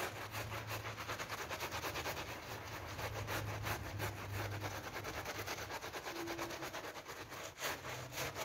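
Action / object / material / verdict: scrape / vinyl coil door mat / PVC / none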